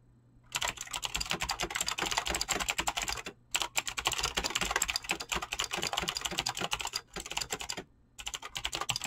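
Fingertips type fast on a mechanical keyboard with clicky green switches and PBT plastic keycaps. Many bright, sharp clicks come in rapid, dense bursts, with short pauses near 3.4, 7 and 8 seconds.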